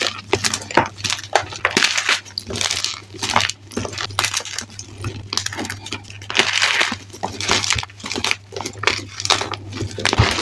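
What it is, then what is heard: Crushed gym chalk chunks. Bare, chalk-covered hands squeeze and crush handfuls of dry white and grey gym chalk (magnesium carbonate) chunks and powder in a dark bin. The brittle lumps crumble with dense, bright crackling and gritty crunching in repeated bursts over a steady low hum.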